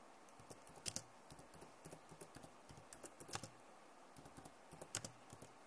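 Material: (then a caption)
Plastic. Fingers type and tap on the keys of a backlit plastic laptop keyboard. About nineteen separate soft, dry clicks come in uneven bursts, each with a low thump and a bright high clack that stops at once. The level stays quiet throughout.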